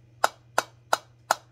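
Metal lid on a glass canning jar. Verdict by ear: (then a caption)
Unsealed. The metal lid of a glass canning jar of pickles that was not pressure-canned, only capped, is tapped four times. Each tap gives a short, dull knock centered in the midrange with almost no ring, marking the lid as unsealed.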